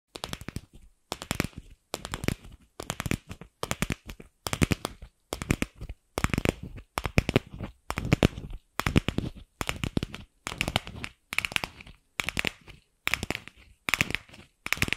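A palm-sized hollow pink plastic ball is tapped with long pink acrylic nails while held briefly above the microphone. Quick, dry clicking taps arrive in rapid bursts separated by short pauses, with hollow low thumps under bright, crisp clicks that stop almost instantly.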